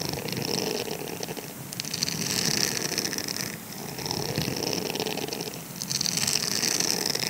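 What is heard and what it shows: Fingertips and nails scratch the circular bristle pattern of a grey silicone scrubber sponge held in the palm. The result is a dense, bright, crackly rasping that swells and eases in several waves, with a faint low rumble underneath.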